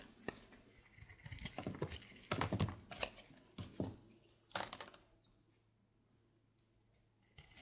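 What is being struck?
Soap bar.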